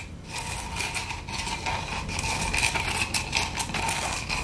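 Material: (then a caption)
Wood. Long acrylic nails scratch and rub across the glitter-coated face of a solid, plate-sized round wood log slice with a bark rim. The result is a continuous, bright, gritty rasp with irregular surges of stroke energy, carrying faint ringing tones near 950 Hz and 2.4 kHz.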